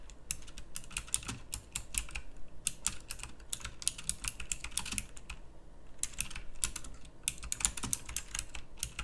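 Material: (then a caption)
Plastic. Fast typing with the fingertips of both hands on a pink plastic mechanical typewriter-style keyboard with round plastic keycaps. Rapid, bright, clicky keystrokes come in dense bursts with brief pauses, each click short and crisp over a low, steady hum.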